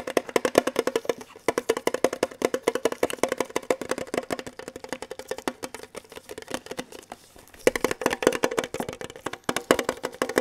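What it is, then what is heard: Metal tin box. Rapid fingertip tapping on a small, hollow, red printed metal Kellogg's tin box held in both hands, one hand in a latex glove. Dense runs of short, dry, clicky taps ring around 500 Hz with a bright edge, pausing briefly near the middle before resuming.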